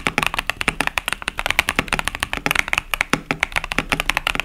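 Fingertips type rapidly on a 65% plastic mechanical keyboard with pastel cherry-profile plastic keycaps, producing a dense run of short, bright clacks and taps. Each keystroke is crisp and dies away almost instantly, with energy centered in the upper mids and little low-end thump.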